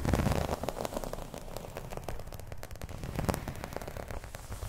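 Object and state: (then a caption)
Embossed vinyl placemat being scratched. Long nails scratch across the embossed surface of a flat, round, dark green placemat, probably vinyl. The result is a dense, rough crackle of rapid, dry ticks, heavy in the low end, loudest at the start and then continuing steadily.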